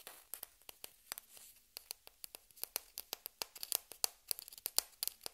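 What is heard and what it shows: A single small, hollow white plastic table-tennis ball is held between fingertips and tapped and scratched with long red-painted nails. About 26 short, bright, dry clicks with almost no ring sound in quick, uneven succession, with faint scratchy rustling between them.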